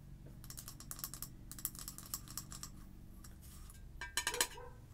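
An orange frosted glass candle jar, Sweet Cinnamon Pumpkin, filled with wax and topped with a black plastic lid, is tapped with long acrylic nails on the glass and the lid. Quick, bright clicking taps come in steady bursts over a low background hum, then a few sharper, louder taps ring briefly near the end.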